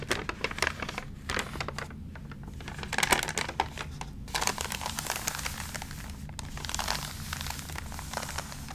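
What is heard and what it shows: A hand turns a page of an open, water-damaged magazine, then the flat palm and fingertips rub across its thin, water-wrinkled paper. Dense, bright crinkling and crackling rustles come in quick bursts over a steady low hum, with a louder crackle near the middle.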